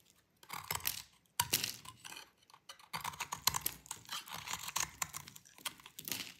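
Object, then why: Bar of soap cut with a metal blade. A metal utility blade cuts into a solid, dry blue bar of soap held in the hand, breaking off crunchy chips. Bursts of crisp, bright crackling and scraping come in quick clusters separated by short pauses, each crunch dry and short with almost no ring.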